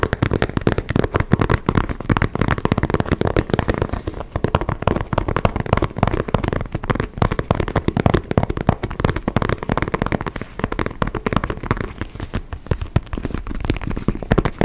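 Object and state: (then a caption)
Synthetic leather football. Fingertips and nails rapidly tap and scratch the panels of an inflated, hollow white and orange synthetic leather soccer ball held in both hands just behind a foam-covered microphone. The result is a dense, continuous stream of short, crackling taps with a deep, hollow thump from the ball and very little bright top end.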